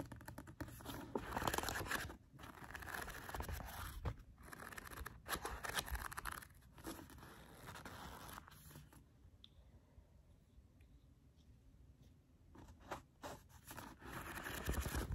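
A hand-sized paperback novel, with a paper cover over a solid block of paper pages, is held in both hands while fingertips and short painted nails riffle, flip and scrape along the pages and cover. Dry, crunchy paper scratches and brief riffling bursts come in an uneven stream. A quieter stretch of soft scraping falls in the middle before the flipping grows louder again at the end.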